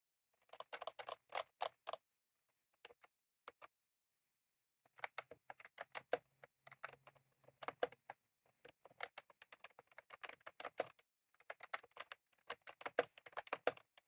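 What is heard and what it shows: Both hands type rapidly with their fingertips on a full-size, retro-style plastic mechanical keyboard with round cream plastic keycaps and a plastic case, resting on a desk. Quick bursts of sharp, clicky keystrokes come in flurries separated by short pauses. Each tap is dry and clipped, with a bright midrange clack and almost no ring.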